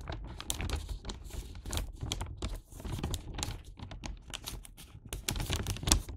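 A Santa-print paper gift bag filled with sweets has its paper top folded and pressed into a hat shape by fingertips and nails. Sharp creasing clicks and crinkles come in quick, dense bursts over a low rustle.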